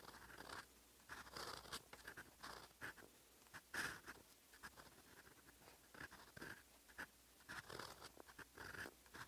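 A steel fountain pen nib, gripped in fingers, scratches across a lined paper sheet while writing Korean script. Steady writing strokes make bursts of dry, bright scratching, with short pauses between them and a faint low hum underneath.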